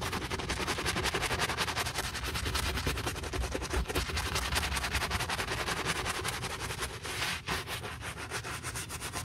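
A wooden-handled bristle brush scrubs the foamy upper of a hollow brown leather boot in quick back-and-forth strokes. The result is a steady, bright, gritty hiss with a soft low body beneath, continuing for the whole clip.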